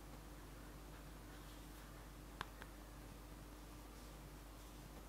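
Two soft, quick fingertip taps on the printed front of a flat yellow cardboard theBalm eyeshadow palette held upright in one hand. The taps are brief, dry clicks that die away almost at once, over a quiet steady low hum.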